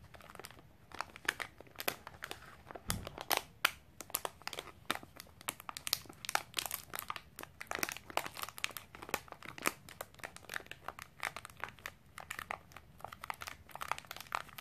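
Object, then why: Snack bar in plastic wrapper. A sealed Milo snack bar in a crinkly plastic wrapper is squeezed and rubbed by long painted nails and fingertips. This makes a dense, continuous stream of sharp, bright crinkles and crackles that start and stop instantly. A soft low thump is heard near the three-second mark.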